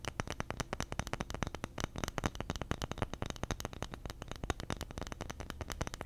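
A round bamboo lid with engraved text is held in one hand and scratched and tapped with fingernails. The result is a rapid, steady stream of short, dry clicks and scratches with no ring, carrying a soft low thump beneath them.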